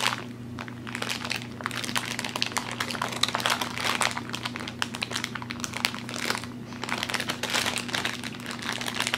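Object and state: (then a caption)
Plastic candy bag being crinkled. A medium bag of Pascall Pineapple Lumps, made of thin glossy plastic film and full of soft chewy candies, is held in both hands and squeezed and rubbed with the fingertips. It gives a steady run of bright, dense crinkling and crackling over a faint low hum. The bag stays the same throughout.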